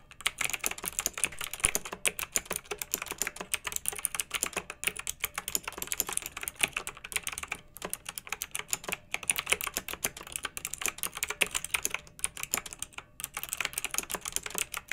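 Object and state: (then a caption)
Plastic mechanical keyboard with round keycaps. Two hands with long nails type continuously on a pink, backlit, retro plastic mechanical keyboard with round keycaps. The keys make a rapid, steady stream of bright, short clicks and clacks with almost no low end, each stroke dying away instantly.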